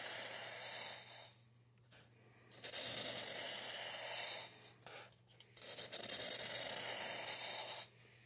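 A gloved hand draws lines on the side of a life-size, solid white expanded polystyrene mannequin head with a black felt-tip marker, the tip scratching over the bumpy foam surface. The result is a bright, hissy, rasping scratch in several long strokes separated by short quiet pauses.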